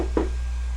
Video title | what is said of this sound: Primecast 117: North Korea Saved Spiderman | Yeah, sounds hollow. That's my bookshelf.